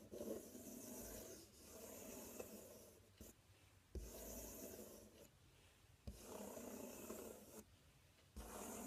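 Fingernails scratch and rub across the front panel of a large, empty, open corrugated cardboard box. Long, dry, raspy strokes with a bright hissy texture alternate with short, quieter pauses.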